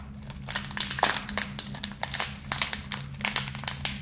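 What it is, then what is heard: Plastic candy bag crinkled. A small clear plastic bag full of tiny round candy balls is held up in both hands and crinkled and rubbed with the fingertips, jostling the candies inside, while a second unopened bag sits still on the table. Dense, bright, irregular crackles and rustles with quick little taps come through over a steady low hum.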